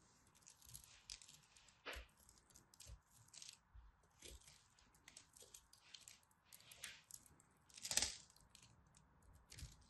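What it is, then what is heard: Dry soap bar. A craft blade scores and chips the surface of a solid, dry purple-and-white striped soap bar held in fingers with long nails. A quiet, uneven series of crisp, bright scratches and ticks follows, each dying away almost at once, with sharper chips standing out near the two-second and eight-second marks.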